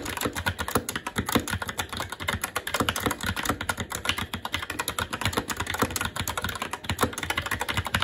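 Continuous fast typing with the fingertips of both hands on a SteelSeries Apex 7 TKL mechanical keyboard with plastic keycaps on a metal top plate and Red linear switches. The result is a dense, steady stream of short, clacky keystrokes with crisp attacks, quick decay, and a bright, full-range rattle.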